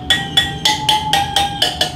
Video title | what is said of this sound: How to Adjust Spokes on a Motorcycle | they'll tap it and they'll listen for the tone and to listen for a dull taun and if it's dull they'll just put the wrench on